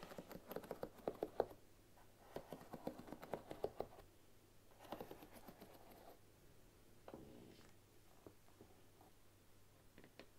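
A bamboo paddle hairbrush with wooden pins rests on a wooden table while long nails and fingertips brush across the pins. The result is quiet, dry clicks and patter in bursts, with short pauses and a faint low hum beneath.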